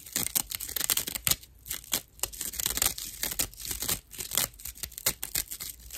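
Long nail tips scratch the hollow, porous edge of a dry natural loofah sponge. Rapid, bright rasping bursts crackle and scrape over one another, with little low end and almost no ring after each stroke.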